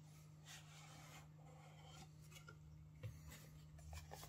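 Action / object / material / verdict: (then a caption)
scrape / small rigid cardboard box / cardboard / none. A small, rigid, printed cardboard Coca-Cola/Timex watch gift box with a striped sleeve is held hollow in both hands while fingertips and nails scratch and rub its flat faces. Soft, dry rasping and rubbing continue over a steady low hum, with three slightly louder scratches standing out near the end.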